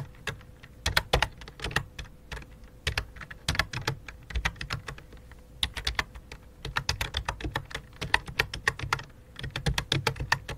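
Fingertips type on a full-size white and light-blue plastic computer keyboard with a hollow plastic body, making a fast, uneven run of short, sharp key clicks. Each click has a bright top and a hollow low thud, and a faint steady hum runs underneath. The typing pauses briefly partway through before resuming in quick bursts.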